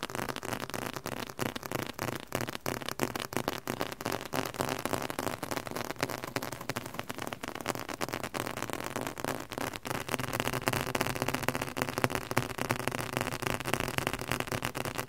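A red leather-covered book, held at an angle, is tapped and scratched with fingertips and nails. Quick, irregular dry taps blend with crackly scratching into a dense, steady flurry with no ring, growing slightly louder in the second half.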